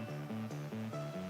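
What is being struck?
Nothing is struck.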